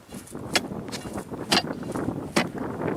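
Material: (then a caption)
Ice. An ice chisel strikes the frozen surface around a beaver house, producing short, sharp, hollow knocks with a bright high edge over a low, rumbling background. The hollow sound indicates there is no ice underneath.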